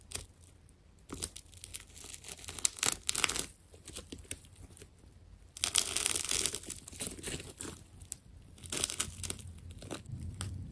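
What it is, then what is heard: Plastic tape ball being cut. A small blade scrapes and cuts through the layers of a carved white and purple ball of solid, layered plastic tape. Bright, crackly tearing and crinkling sounds come in uneven bursts of quick snaps, with a dense stretch around the middle, over a faint steady low hum.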